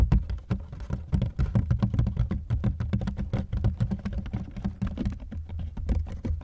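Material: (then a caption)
Plastic. Fingertips and nails tap rapidly on the outer shell of a dark grey ribbed hard-shell plastic carry-on suitcase, near its combination lock and expansion zipper, heard from inside the hollow case. The taps come as a dense, uneven patter of short, dull, boomy thuds that are almost entirely low in pitch, each dying away almost instantly.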